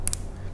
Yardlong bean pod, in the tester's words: nah ini sudah menunjukkan bahwa memang ini keras dan padat